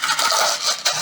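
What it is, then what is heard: Plastic bottle of corn kernels being shaken. A small plastic water bottle filled with corn kernels is shaken to make a sound for a listening game. The kernels give a steady, bright rattling hiss with no low end, swelling briefly louder near the end.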